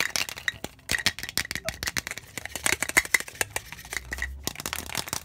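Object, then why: Plastic tumbler with lid and straw. A clear plastic tumbler, hollow and apparently empty, with a blue plastic lid and straw, is held in the hands and tapped quickly with fingertips and nails on both the cup and the lid. The result is a rapid, uneven stream of sharp, bright plastic clicks and taps that die away almost instantly, with a faint hollow tone near 2 kHz.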